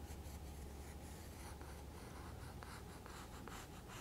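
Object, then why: Graphite pencil on a thick paper sketchbook page. A graphite pencil held in the fingertips scratches and draws outlines on a page of a thick spiral-bound paper sketchbook lying open, its pages stacked and solid. The quiet, steady scratching carries faint bright strokes over a low background hum.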